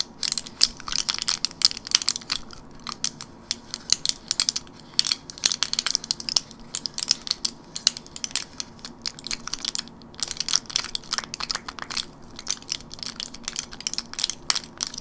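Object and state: Plastic and foil blister pack of gum.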